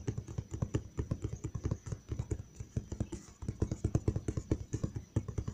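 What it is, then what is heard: Hollow cardboard box. Fingertips tap and lightly scratch the flat side of a large, hollow brown cardboard box. About 35 quick, dull, low thumps come in an uneven rhythm, each dying away almost instantly, with a faint scratchy hiss between them.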